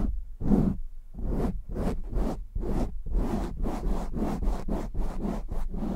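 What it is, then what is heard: Foam microphone windscreen being scratched. Fingertips scratch fast across a black foam windscreen on a microphone while hands cup it, making a quick run of rough, scratchy bursts. Each stroke is a dull, close, muffled rasp with a heavy low rumble underneath and a faint brighter hiss at its edges.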